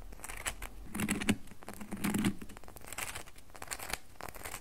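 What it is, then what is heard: Bar of soap scratched with fingernails. Long nails scratch a solid red bar of soap held in both hands, making dry, crackly scratching strokes that come in irregular bursts. A low murmur-like tone swells briefly around the louder scrapes.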